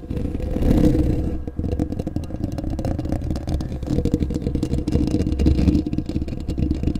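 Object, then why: Metal mesh microphone grille. Short bare fingernails and fingertips scratch and rub the hollow metal mesh grille of a large black desktop condenser microphone. The result is a steady, dense, low-heavy scratching and rubbing texture made of rapid, close-up crackles with a boomy rumble and almost no high, bright content, holding a fairly even level for the whole clip.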